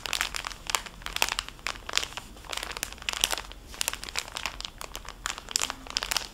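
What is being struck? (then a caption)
Cellophane bag holding a soft fabric wipe pouch. A small, full, clear cellophane bag holding a flat, soft fabric makeup wipe pouch is crinkled and squeezed by fingertips and nails. Bright, crisp crackles come in rapid, uneven bursts with almost no low end and no ring.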